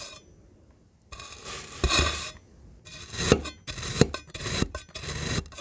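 A rainbow metal knife cuts a solid black and pink kinetic sand ring into chunks. After about a second of near silence come uneven bursts of crumbly, gritty scraping with a bright hiss and occasional sharp ticks as the blade slices through.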